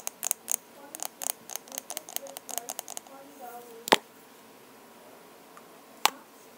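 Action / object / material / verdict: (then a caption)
tap / plastic lip balm tube / plastic / none. A lip balm tube is tapped in a fast, irregular run of light, dry clicking taps for about three seconds. Two sharper, louder clicks follow, separated by a quiet pause. Each tap is short and bright with no ring, over a faint steady background hiss.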